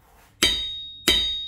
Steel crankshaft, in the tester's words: more of a thud but it still has a ring to it depending on where you tap it it's got a nice ring